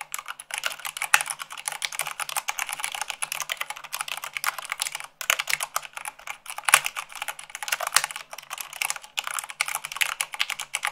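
Long acrylic nails type fast, at about 98 words per minute, on a full-size mechanical keyboard with white plastic keycaps on a black base. A dense, rapid stream of bright, sharp plastic clicks and clacks carries almost no low end, with a brief pause near the middle.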